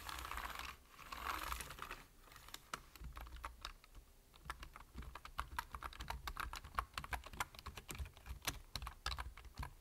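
Fingertips type on a full-size black plastic computer keyboard, with the hands partly out of view. A brief softer, rustling wash opens the clip, then a rapid, steady stream of short, dry key taps with quick, bright clicks and a faint low rumble beneath them.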